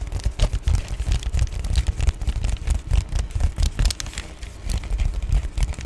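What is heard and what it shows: An Amazon Prime padded poly bubble mailer, held briefly up to the face, is scratched with nails and rubbed with fingertips across its wrinkled back side. The result is a dense run of close, crinkly scratching and rubbing bursts, heavy in low rumble with faint bright crackle, rising and falling in loudness throughout.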